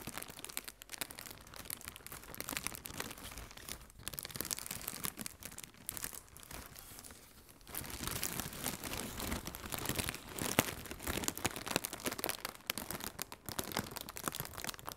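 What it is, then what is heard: Plastic air cushion packaging. Fingertips with red-painted nails squeeze and crinkle a hollow strip of blue plastic air cushion packaging. The result is a dense, steady stream of bright, crackling plastic crinkles with short, dry snaps. The crinkling eases briefly around the middle, then returns louder and busier.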